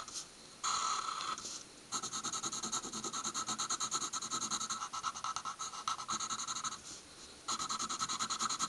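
A graphite pencil tip is drawn across a thin stack of white paper sheets lying on a wooden table in short, dense hatching strokes. It makes bursts of rapid, bright, raspy scratching with a steady tone near 1.3 kHz, broken by brief quieter pauses between runs of strokes.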